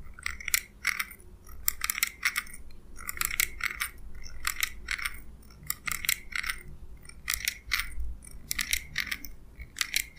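Small steel scissors with a purple handle are held in the fingers and snipped open and closed, their blades rubbing metal on metal. Quick, bright metallic snips with a sharp ringing edge repeat in short clusters over a faint low rumble.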